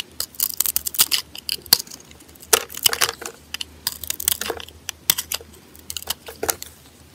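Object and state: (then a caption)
Bar of soap being scraped and sliced. A metal blade scrapes and cuts slices off a solid, dry white soap bar with colored glitter on its surface, held in a hand with a bandaged finger. Bursts of crisp, bright crackling and scraping come in uneven clusters, each dying away almost instantly. A faint steady low hum runs underneath.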